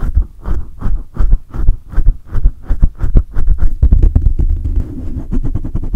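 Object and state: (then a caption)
Metal mesh microphone grille being rubbed and scratched. Hands cup a large silver condenser microphone with a hollow metal mesh grille, then fingertips rub and scratch the grille. It gives a rapid, uneven stream of deep, boomy thumps and muffled rustling scrapes, heavy in the low end with short, dry decays.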